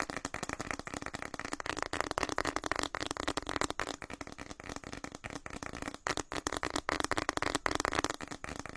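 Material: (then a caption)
Plastic. A hand-sized printed plastic snack packet, orange and white with a flower pattern and partly filled, is held in both hands and rapidly crinkled, squeezed and tapped with the fingertips close to the microphone. The result is a dense, continuous crackle of sharp, dry clicks and rustles, centered in the midrange with some brightness and very little low end.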